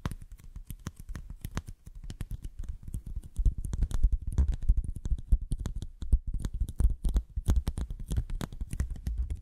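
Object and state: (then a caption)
Curved cardboard sheet. Long nails and fingertips tap rapidly and unevenly on a thin white cardboard sheet bent into a hollow curve. The taps sound dull, low and hollow, with almost no ring, and grow a little louder and denser in the middle of the clip.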